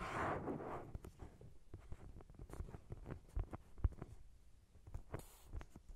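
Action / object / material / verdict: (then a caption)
tap / thick paperback book, paper / paper / none. Fingertips and nails scratch and tap the cover of a thick paperback novel, a solid paper block. A soft, rustling scratch opens the clip, followed by quiet, dull taps and light scrapes that are mostly low and muffled, with an occasional brighter scratch near the end.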